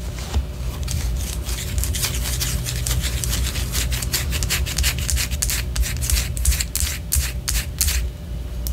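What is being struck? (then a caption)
Wax pillar candle. Long orange acrylic nails scratch a large white solid wax pillar candle, held first sideways and then upright. Dense, irregular bursts of bright, dry scratching come a few times per second over a steady low rumble.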